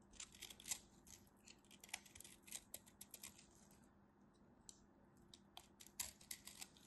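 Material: Soap.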